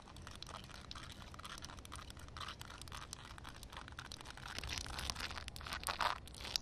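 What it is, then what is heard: Wet concrete surface. Long red nails tap and scratch a flat wet concrete ground covered by a shallow film of water, making the water ripple. A dense, crackly stream of bright, gritty scraping and quick taps runs throughout with a faint low rumble underneath, growing louder toward the end and finishing with a sharp tap.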